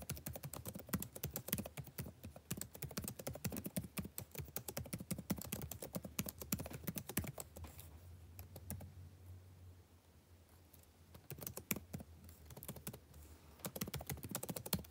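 Fingertips tap quickly on the plastic keys of a backlit laptop keyboard, making a dense run of short, dry clicks with a low thump under each one. The typing thins to a quiet, low hum around the middle, then the same keyboard's clicking picks back up toward the end.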